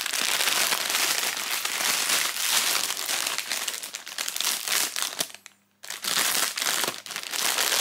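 Fingertips squeeze and handle a thin, clear, crinkly plastic retail bag with a barcode label and black knit slash-proof gloves inside, held close. Dense, bright crinkling runs almost continuously, drops to near silence for about half a second just before the 6-second mark, then resumes just as busily to the end.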